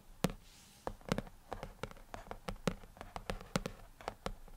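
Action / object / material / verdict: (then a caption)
tap / glass tablet touchscreen / glass / none. Fingertips of both hands tap repeatedly on the dark glass touchscreen of an iPad lying flat on a desk. The taps are short, dry and quickly damped, with a low, dull body, in an irregular run of about twenty taps of varying strength.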